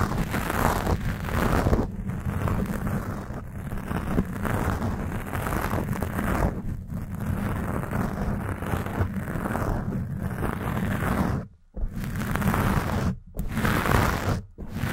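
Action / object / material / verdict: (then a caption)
scrape / foam microphone windscreen / foam / none. Long painted nails scratch a black foam microphone cover on a Blue Yeti, producing a dense, continuous rumbling scrape heavy in the low end, with brighter rasping bursts on top. Near the end, the scratching stops for three brief, near-silent breaks before resuming.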